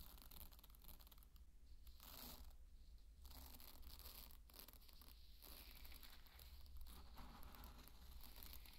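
Dry pearl barley grains are scooped up in a cupped hand and trickled back onto the bed. Soft, gritty rustling and crinkly trickles rise and fall in bursts over a steady low hum, with bright grainy patter at the loudest moments. The whole clip stays quiet.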